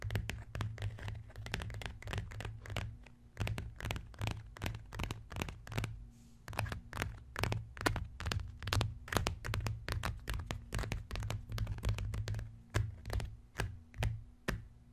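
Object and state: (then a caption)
Leather-look notebook cover, tapped and scratched. Both hands tap and scratch with fingertips and short nails on the cover of a closed, brown, embossed leather-look notebook resting on a wooden chest. Quick, uneven taps come at a rapid pace over soft scratching, each hit short and dry with a dull, low-heavy thud and little high detail, beneath a faint steady low hum.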